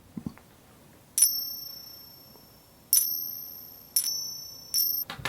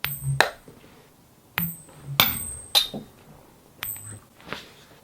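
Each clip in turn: First: 40% silver coins ringing true. Second: 90% silver dimes pinging.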